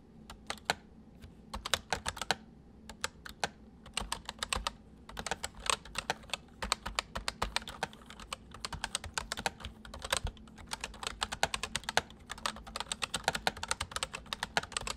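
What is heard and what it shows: Fingertips of both hands type on a white full-size plastic MSI mechanical keyboard with hollow keys, producing a rapid, continuous stream of bright, sharp clacks with almost no ring. Bursts of keystrokes come in quick runs with brief pauses, over a faint steady low hum.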